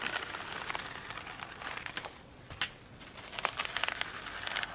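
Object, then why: Foam sponge with glitter coating. Long acrylic nails scratch and tap a flat, oblong foam sponge with a glitter-textured top resting on a table. The result is a dense, bright, crinkly scratching broken by short, sharp taps. The sound eases briefly midway, then one loud tap lands and the crisp scratching builds again.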